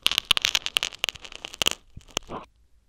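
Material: Foam.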